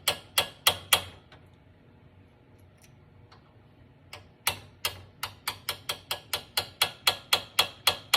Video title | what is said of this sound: Last video of assembly of rebuilt bijur fitting for Rolls Royce project, but can go for any car | you can hear the tapping when it's solid